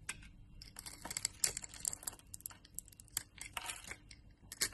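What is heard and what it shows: A utility knife blade scrapes small cubes off a solid orange rectangular bar of soap with a cross-hatched scored surface, held in the hand. The result is a quiet, rapid series of dry, crisp crackles and snaps, bright and short with almost no low end, as the cubes break away.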